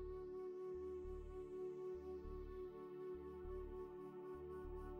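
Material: Nothing is struck.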